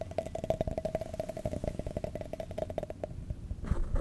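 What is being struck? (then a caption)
Empty cut-glass tumbler. An empty, hollow, clear cut-glass tumbler with a diamond pattern is held in both hands and tapped and scratched all around with fingertips and nails. A quick run of soft taps and scrapes sits over a steady mid-pitched glassy ring that fades after about three seconds. Each tap dies away quickly, and a louder, rougher scratching closes the clip.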